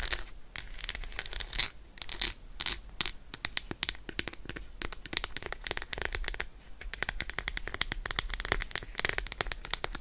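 Long acrylic nails rapidly scratch and tap the embossed surface of an unwrapped Roshen milk chocolate bar, a solid segmented slab held in one hand. The result is a dense stream of crisp, bright clicks and scratchy rustles with no ring, and the hits run together too quickly to count.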